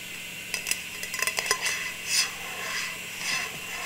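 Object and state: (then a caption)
Metal tin lid. Long nails tap and scratch a round metal tin lid held in the hands with its silver underside facing up. A quick run of sharp, bright metallic taps with a short ring near 1 kHz gives way to softer, hissy scratching swells over a faint steady hum.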